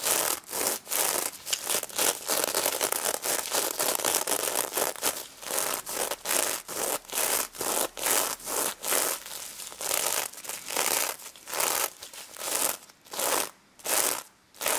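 A stuffed pink sequin plush pig is held in both hands while long red nails rub and scratch across its sequins. The result is a steady run of bright, dry scratching strokes with a crinkly sequin texture, including some light tapping. The strokes come in uneven bursts and spread wider apart toward the end.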